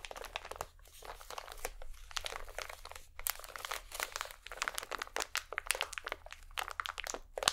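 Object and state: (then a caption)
Crinkly plastic packet. A small iridescent plastic packet held between both hands is squeezed and crinkled with fingertips and nails. The result is a continuous stream of sharp, bright crackles and crunches with brief pauses, and a faint steady low hum runs underneath.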